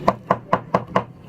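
A baked egg-free, sugar-free, gluten-free sesame biscuit is broken apart, giving five short, dry, crisp snaps about a quarter second apart. The crunch shows the biscuit has dried and turned crisp after cooling in the air.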